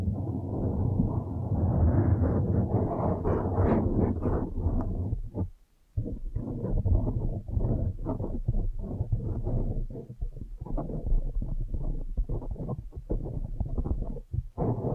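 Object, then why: Foam microphone windscreen. Both hands scratch and rub a blue foam windscreen on a microphone with long nails, producing a dense, muffled, low-heavy rumble of rapid, irregular scraping strokes. The rubbing runs almost continuously, with a brief silent gap just before the sixth second before the scratching resumes.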